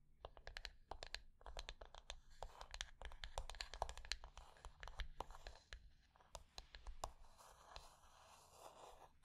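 A small, flat, rectangular hollow wooden box lying on black fabric is tapped and scratched with long nails across its top and edges. Quick, dry clicking taps with no ring mix with bursts of bright, rasping scratching over a low, steady hum. The taps come thick and fast, then thin out into softer scratching near the end.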